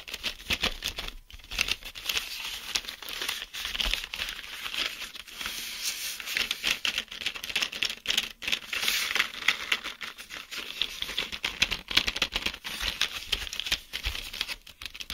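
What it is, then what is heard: Plastic blister pack tapped and scratched. Fingertips tap and scratch rapidly along the hollow clear plastic bubbles of a card-backed blister pack holding 10 mechanical pencils, while both hands grip the pack. The result is a dense, continuous stream of bright, crinkly plastic clicks and scrapes with very little low end, each tick dying away almost instantly.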